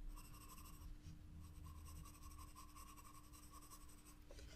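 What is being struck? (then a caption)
Graphite pencil on a paper sketchbook page. A graphite pencil held in the fingers moves across a white drawing-paper page of a spiral-bound sketchbook lying flat on a table, making short shading and line strokes. The result is a quiet, continuous dry scratching with a bright, papery texture over a faint steady low hum.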